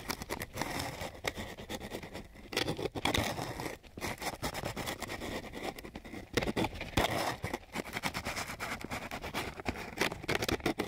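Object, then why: Coarse sandpaper sheet scraped with a wooden stick. The long edge of a flat wooden popsicle stick is scraped across a flat sheet of coarse, gritty sandpaper. The result is a dense, continuous run of dry, rasping scratches with crackly, bright grit texture, rising and falling in short bursts as the strokes change.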